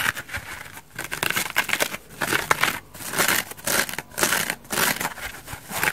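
Long dark-painted nails scratch and rub a hand-sized, dry, elliptical foam bath sponge with a white bubbly foam side and an orange layer, held in one hand. It makes crisp, bright, crinkly scratching in uneven bursts with quiet gaps between, and almost no low end.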